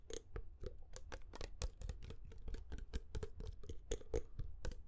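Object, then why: Glass perfume bottle. Short fingernails and fingertips tap rapidly on a medium glass perfume bottle with a metallic cap, partly filled with amber liquid. The quick, irregular taps give bright clicks over soft low thumps, and some carry a brief glassy ring that fades almost at once.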